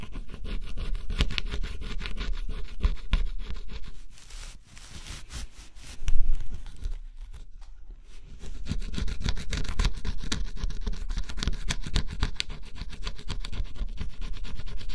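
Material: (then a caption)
Coated cardboard. A small metal scraper held in the fingertips scratches lines off the black scratch-off coating of a flat, solid cardboard jigsaw puzzle. Dense, rapid scratching strokes come close together, ease into a quieter stretch with one louder scrape near the middle, then return to steady scratching to the end.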